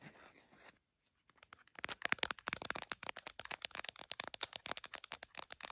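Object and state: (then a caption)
Smartphone in plastic case, tapped with nails. Long nails from both hands tap and scratch a tripod-mounted iPhone in a printed plastic case, including its camera bump. A soft scratchy rustle and a brief pause give way to a fast, dense run of bright, crisp clicks and scrapes with almost no low end.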